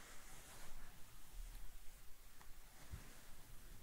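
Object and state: Nothing is struck.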